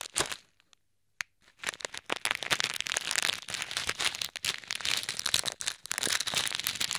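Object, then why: Plastic bag of plastic beads. A small clear plastic bag full of pink, red and white plastic pearl beads is squeezed and crushed with both hands, then pressed with fingers over ear microphones. After a short burst and a brief near-silent pause, dense bright crinkling of the plastic and shifting, clicking beads runs almost continuously, with very little low end.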